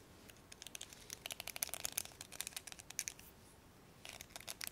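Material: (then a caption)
Plastic. Fingers pluck and scratch the black plastic pins of a blue hairbrush, making a quiet run of sharp, bright ticks and crackles with almost no low end. The clicks come in quick bursts, pause briefly near the end, then resume.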